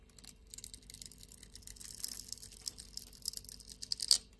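A blade scrapes the grid-scored surface of a solid light-blue soap bar into small cubes. Quiet, bright, crisp crackling and rapid ticking continue throughout, swelling slightly in the middle and ending with a sharper, louder crunch near the end.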